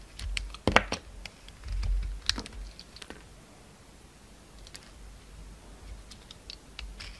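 A utility knife blade slices and scrapes the pink face of a solid oval bar soap, pink inside with a gold glitter shell, held in the hand. Short, dry, crisp clicks and bright scraping ticks come in scattered bursts over soft low thumps, each cut ending almost instantly with no ring.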